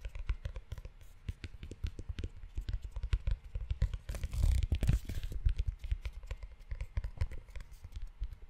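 Fingertips and short nails tap and scratch the tan leather cover of a closed leather-bound notebook, making a steady run of quick, dull, low thumps with faint scratchy ticks. Around the middle, a brief stretch of brushing, rubbing texture rises louder before the tapping resumes.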